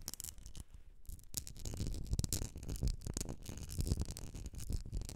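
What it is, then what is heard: Glass candle jar filled with wax. Long nails tap and scratch a medium etched glass jar filled with solid wax, making quick, dense clicks and gritty scraping with a bright edge over a low thump. The taps run close together with almost no ring.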